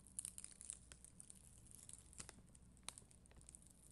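A plastic spoolie brush, held by a hand with long green nails, scratches and brushes across a flat sheet of red and clear faceted acrylic adhesive rhinestones on a white backing, which may sit inside a clear plastic sleeve. Soft, bright crinkling and scraping runs throughout, broken by sharp little ticks and clicks. A low hum sits underneath, and the overall level stays quiet.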